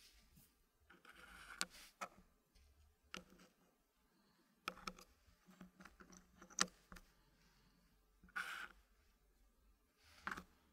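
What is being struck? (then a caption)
Wooden puzzle pieces in a wooden tray. Fingertips click and tap small solid wooden puzzle pieces into position in a green wooden tray. Sharp, bright clicks with very short decay are scattered through quiet gaps, along with a few brief bursts of soft scraping as pieces slide against the tray.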